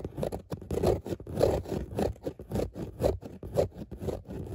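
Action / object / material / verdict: scrape / dotted fabric car seat / fabric / none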